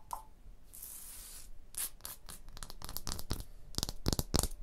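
Long blue nails scratch and tap across a solid limestone block wall with joints. A sustained bright scrape is followed by a quick, irregular run of sharp, dry taps and short scratches that stop almost instantly, with a faint low thump under some hits.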